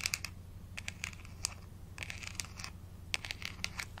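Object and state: Plastic vitamin bottle cap.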